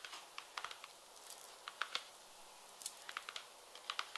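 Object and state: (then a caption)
Patent leather pump tapped with fingernails. A light pink, glossy patent leather peep-toe pump, held empty in the hand, is tapped along its side with long red nails. Quick, bright, clicking taps with almost no ring are heard in irregular bursts. They sit over a quiet hiss and have no low end.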